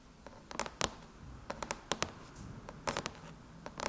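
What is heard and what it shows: Long chrome nails tap and scratch on the closed silver aluminum MacBook lid with both hands, giving about 14 sharp, bright clicks with very little ring. Some taps come in quick pairs and clusters over soft scratching between them.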